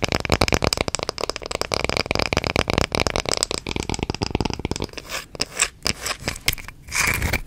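Long red-painted fingernails rub and scratch the surface of a small, flat, round solid light-wood coaster held close to the mic. A fast train of dry, crackly rasping scrapes runs for about five seconds. It slows into a few separate longer strokes and ends in a final drawn-out scratch.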